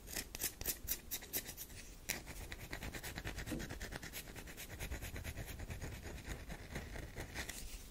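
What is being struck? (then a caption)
Bar of soap. Long nails scrape and rub the powdery, scratched surface of a solid tan DURU bar soap. The result is a run of quick, dry, brittle scratches with bright, hissy detail over a soft low rumble, starting as distinct strokes and blending into a steady, dense rasping.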